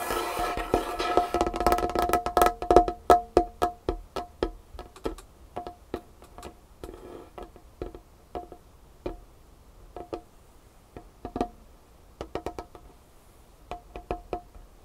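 Long nails of both hands tap quickly on a large, solid, varnished wooden tabletop. The result is a run of short, dry wooden clicks and knocks with a steady mid-pitched resonant tone. The taps come in a dense rapid flurry for the first few seconds, then thin into irregular clusters of quick taps separated by quiet gaps.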